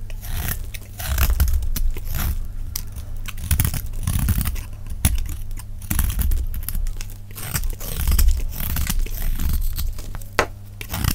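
A solid, hand-sized rectangular block of dry pink-and-cream soap is held in the hand and shaved with a metal utility-knife blade in scraping cuts, piling up pink chips. Played at double speed, it gives a dense, continuous run of quick, dry crunching scrapes over a heavy low rumble, with brief sharp clicks cutting through.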